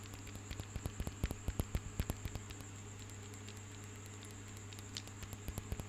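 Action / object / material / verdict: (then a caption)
tap / cluster of small carved marble grapes / marble / none. Long fingernails tap and scratch a cluster of small, solid marble stone grapes held up close. Quick, dry clicks come in irregular bursts, loudest in the first half and again near the end, over a steady low hum and a faint high, thin tone.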